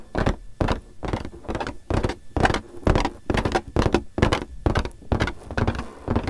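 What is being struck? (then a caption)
Inflated latex balloon. A large, hollow, air-filled pink latex balloon is rubbed and tapped with fingertips close to the mic. It makes a quick, uneven series of short, soft thumps and rubbery brushes with a deep low-end body and a brief bright edge. Each sound dies away almost at once.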